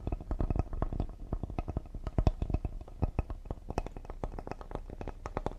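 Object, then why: Cedar wood serving board. Fingertips and short nails tap quickly and lightly on the face and top edge of a solid cedar serving board held upright. The taps are short, dry knocks with a deep, woody thump and almost no ring, coming in a fast, uneven flurry.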